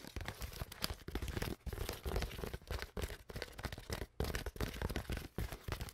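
An empty, hollow, clear plastic Glacier Clear water bottle with a cap and label is crinkled and scratched with long nails. The result is dense, continuous crackling and crinkling with rapid scratchy bursts and brief pauses.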